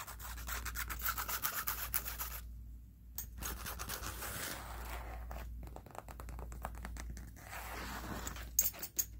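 Fingernails tap and scratch the edge and surface of a thick, stitched leather weightlifting belt held in the hand. Dry, rasping scratches and brisk, bright taps come in irregular bursts over a steady low hum, with a brief lull near the middle and sharper taps toward the end.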